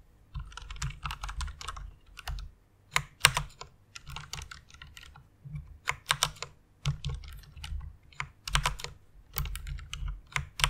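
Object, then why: Plastic mechanical keyboard. Fingertips with long nails type on a white plastic rainbow mechanical keyboard, producing quick bursts of bright, sharp clacks with a low, hollow thump beneath each keystroke. The clicks come in uneven flurries separated by short pauses, each one dying away almost instantly.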